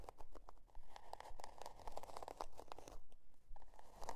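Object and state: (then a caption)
Cardboard notebook cover being scratched. Long dark nails scratch the scale-pattern cardboard cover of a spiral-bound notebook lying on faux fur. Quick, fairly regular dry scratching strokes are heard, crisp and crinkly, with a low rumble beneath. Each stroke stops short, with almost no ring.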